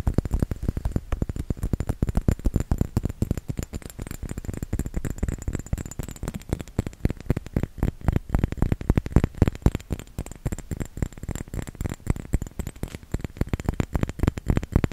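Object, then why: Small round glass bottle filled with liquid. A small round glass bottle filled with red liquid is held in both hands and tapped rapidly with the fingertips and nails. The result is a dense, uneven stream of soft, dull, low-pitched taps, each dying away almost instantly.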